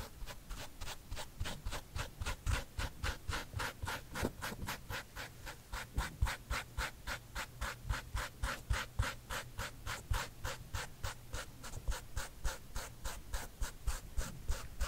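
A fingernail scratches the side of the leather-like upper near the heel tag and laces of a white sneaker with a gum rubber sole, held hollow and empty in one hand. About 47 quick, bright scratching strokes repeat at a steady but slightly uneven pace, about three per second, over a faint low hum.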